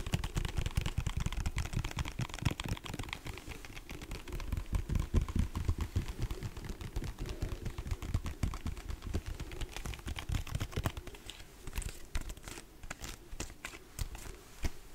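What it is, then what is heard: Plastic lotion pump bottle. Fingernails tap and scratch the body and label of a large white plastic lotion pump bottle. Dense, irregular clicks and scrapes run throughout, heavy in low thuds with some brighter ticks. The sharper, sparser taps come toward the end.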